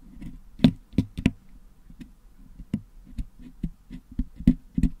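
A wooden toothpick picks at the holes of a Blue Yeti microphone's hollow metal mesh dome grille, which is packed with red and blue putty, to clean the putty out. About nine short, dull taps and scrapes stand out, with soft low scratching between them and very little brightness.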